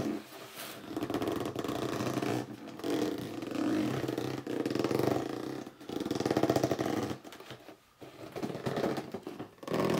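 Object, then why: Cardboard box. A hollow red cardboard box is gripped and squeezed by both hands while upright, then laid flat, giving squeaky gripping and rubbing sounds. The squeaks and scrapes are mid-pitched, with little deep bass or bright top, and come in continuous swells broken by brief quiet pauses.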